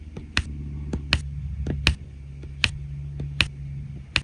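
A plastic drill pen taps resin rhinestone drills into place one after another on the blue area of a flat adhesive diamond painting canvas. Six sharp, bright clicks stand out at a steady pace, with fainter ticks between them over a low, constant hum.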